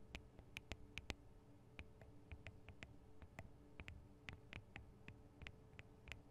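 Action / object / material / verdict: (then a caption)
tap / metal microphone capsules on a handheld recorder / metal / none. Long acrylic nails tap the small hollow metal microphone capsules, with their metal guard wings, on a Tascam DR-40 recorder. About 22 quick, sharp, clicky taps come at an irregular pace, each with a bright metallic ping that dies almost instantly. Underneath runs a quiet, steady low hum.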